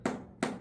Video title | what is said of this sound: সৌদি বসে নিজের গাছের কাঁঠাল খাই! আলহামদুলিল্লাহ 🔥 | টোকা দিলে যদি ঠাস ঠাস শব্দ করে